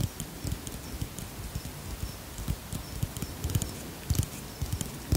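Fingertips tap the side of a white plastic pump bottle of cream held in one hand. A steady run of soft, dull, low thuds sounds, each dying away almost at once, with faint bright clicks above them.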